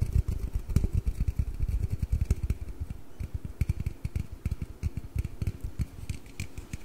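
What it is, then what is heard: Aluminum drink can. Fingernails scratch and tap along the body and bottom of a slim, hollow aluminum Red Bull can, held upright and then tilted beside the microphone. A dense run of quick, deep, hollow thuds and soft scratching follows, each tap dying away almost at once. Faint bright clicks sit over the heavy low end.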